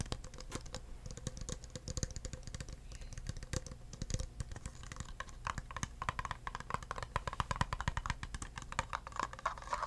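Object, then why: Thin plastic cup. Fingertips tap the sides and bottom of an empty, hollow, thin clear plastic cup held in the hands. The result is a rapid, steady stream of soft, dull taps with a low, thumpy body and very short ring, growing slightly brighter and more clicky toward the end.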